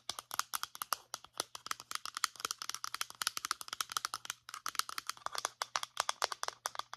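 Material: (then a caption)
Plastic. Long nails tap rapidly on the body of a medium-size white plastic lotion pump bottle held sideways, producing 49 quick, dry clicks with no ring. Each click is bright, centered near 1.3 kHz, over a faint low hum.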